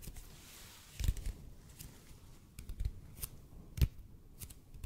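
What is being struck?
Bead foam roller.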